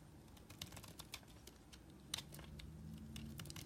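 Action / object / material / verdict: scrape / solid bar soap scraped with a small metal blade / soap / none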